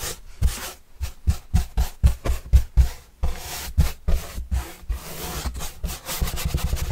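A paintbrush is swept across the surface of a large, flat, hollow white corrugated cardboard pizza box with green edges, held upright. Quick, uneven strokes produce soft, papery scratching with a bright hiss over deep, hollow thumps from the box.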